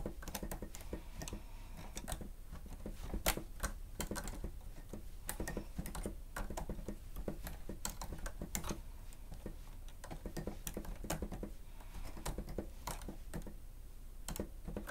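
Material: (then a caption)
Plastic. The keys of a grey plastic stenotype machine with a screen are pressed rapidly with the fingertips and nails of both hands. It makes a steady stream of quick, sharp clicks and taps that die away almost instantly, over a low, quiet rumble.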